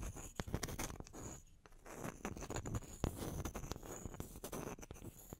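Long nails scratch and tap the faces of two small, solid, round wooden log slices held on their edges. Quiet, continuous dry scratching is broken by short, sharp taps with low, dull thumps beneath a bright, rasping texture.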